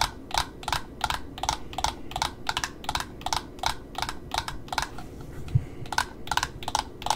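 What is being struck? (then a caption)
Satin ribbon spool with cardboard ends. Long nails tap on the cardboard end disc of a black satin ribbon roll wound on a cardboard spool, then tap and scratch along the wound satin edge. A steady run of crisp, dry clicks with bright tops ends almost instantly, over a low background rumble. A short quieter stretch near the fifth second carries softer scratching before the rhythmic tapping resumes.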